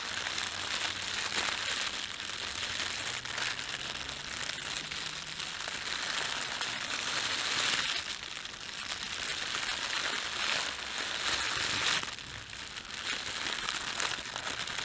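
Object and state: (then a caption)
Thin plastic bread bag. A large, soft, red-and-white printed thin plastic bakery bag lying on a table is rubbed, pressed and crumpled by the fingertips of both hands. The result is a continuous bright crinkling and crackling with short bursts, a few brief quieter dips, and almost no low end.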